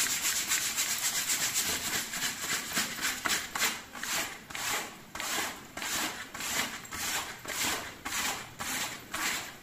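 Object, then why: Leather vest. Fingertips and nails of both hands rub and scratch the thin, flexible leather panels on the front of a dark grey-green leather vest, near the zipper, while it is worn over a dark wool sweater. About twelve bright, dry scratching strokes follow one another at a fairly steady pace, each a hissy swell of mostly high-pitched friction noise with almost no low end.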